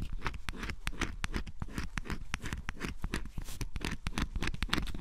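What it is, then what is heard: Scratch-off cardboard puzzle being scraped. A flat metal scraper scratches the black scratch-off coating from a cardboard jigsaw puzzle piece in close-up, leaving flakes behind. Many quick, dry scraping strokes run back to back with no break, each a short rasping scratch over a low, papery rumble.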